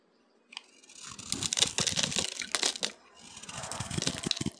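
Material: Soap.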